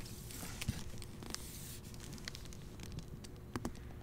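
A hardcover copy of the novel The English Spy, its red dust jacket wrapped in a clear plastic library cover, is held in the hand and turned over to the back cover photo as the fingers handle it. The plastic gives a quiet, steady crinkling and scratching with a low, muffled base and bright crackly edges. A few sharper crackles stand out near the start and again near the end.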